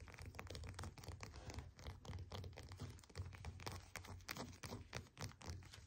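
Long painted nails tap and scratch the dimpled peel of a whole, solid orange resting on a desk mat. The result is a quick, uneven run of soft, dull thunks with little ring, mixed with faint scratchy brushing across the peel.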